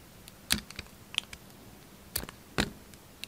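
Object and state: Bar soap being carved.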